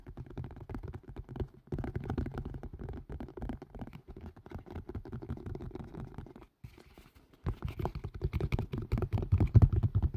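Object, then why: Collapsible plastic and silicone strainer. A green and white collapsible plastic and silicone strainer, hollow and tilted and turned close to the mic, is tapped and scratched quickly with fingertips and nails. The result is a dense, irregular stream of dull, low, hollow thumps and soft scratches with almost no ring. It pauses briefly near the middle, then returns louder toward the end.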